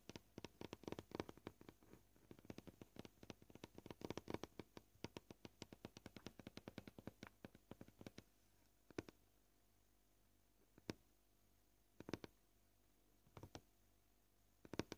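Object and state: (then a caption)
Plastic cutting board. Short painted fingernails tap a flat, solid white plastic cutting board, making quiet, dry, clicky taps with almost no ring. The first half is a fast, dense flurry of taps. It then slows to a few sparse single taps spread over the remaining seconds.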